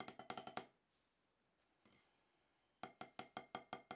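Two wooden drumsticks tap a solid, octagonal HQ rubber drum practice pad with a dark surface. Thirteen dry, woody hits sound in two bursts: six quick taps, a near-silent gap with one faint tap, then seven more evenly spaced taps. Each hit is short with almost no ring, and its bright knock centres in the mid range.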